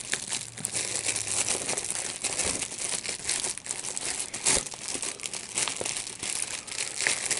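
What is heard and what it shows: A sheet of clear plastic bubble wrap with large, hollow, air-filled bubbles is held in both hands, and the bubbles are popped by squeezing them with the fingertips, while a second, unused sheet lies at the side. Steady bright crinkling and rustling of the plastic is broken by frequent short, sharp pops with almost no low end, and each pop cuts off quickly.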